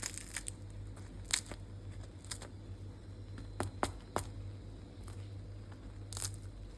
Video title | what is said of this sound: BU SOS BAMBAŞKA✅SADECE 3 MALZEMELİ‼️ÇITIRLIĞI DUYMANIZ LAZIM👍🏼LEZZETİ KATLADI RESMEN‼️#börek #tarif | Станаха хрупкави! Моля, чуйте звука.